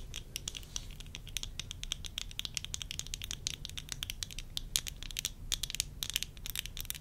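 Long nails tap rapidly on the frame and lenses of worn tortoiseshell plastic eyeglasses. The result is a dense, uneven stream of sharp, bright clicks that stop almost instantly, over a steady low background rumble.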